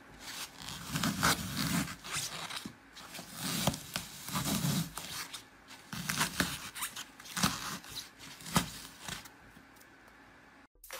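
A crushed, glitter-covered green floral foam block is turned in the hands while fingertips crush and dig into the solid porous foam. The result is a steady run of crunchy, zipper-like crackles with sharp bright snaps over a soft low rustle, fading to near silence at the end.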